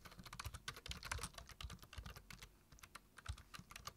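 Fingertips tap the keys of a black plastic low-profile computer keyboard while typing, producing a quick run of about 25 short, bright clicks, each with a soft low thump beneath it. The keystrokes die away almost instantly, thin out briefly past the middle of the clip, then pick up again.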